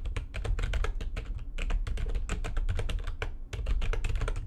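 Fingertips with long nails type fast on the keys of a full-size, low-profile, backlit plastic computer keyboard resting on a desk. A dense, continuous stream of short, dry clicks and taps rides over a steady low rumble. The clicks die away almost instantly, with only brief gaps between bursts.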